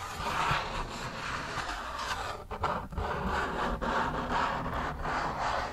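Fingertips rub and scratch across an orange, camel-print hard plastic frisbee, a thin, hollow-backed flying disc. The result is a steady, dry, papery scraping with a midrange focus around 1.3 kHz and a few brief dips and swells as the strokes change.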